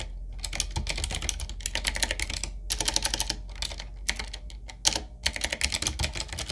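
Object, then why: Mechanical keyboard with round plastic keycaps. Fast typing with the fingertips of both hands on a 7Keys full-size, typewriter-style retro mechanical keyboard with a solid body, round plastic keycaps on a dark metal plate and a wooden-looking frame. Rapid, bright, clacky key strikes come in dense bursts separated by brief pauses, over a steady low rumble.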